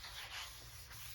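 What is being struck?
Nothing is struck.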